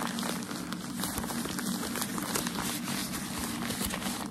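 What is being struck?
Bundle of thin tissue packaging paper.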